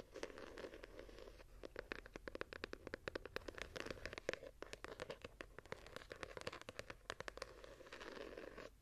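A small hardcover journal with a patterned gilded cover is held in both hands while long nails scratch along its page edges and cover. The result is a steady, dry, papery rasp with a midrange body, broken by many quick, sharp scratching ticks that stop almost instantly.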